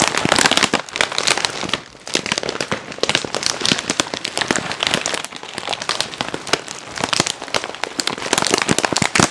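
A medium, light-blue printed plastic film snack bag that appears full is held in both hands close to the mic and squeezed, crinkled and tapped with long nails and fingertips. The result is a dense, continuous run of crisp, bright crackles and sharp rustling snaps with little low end, easing briefly around the 2-second mark before picking back up.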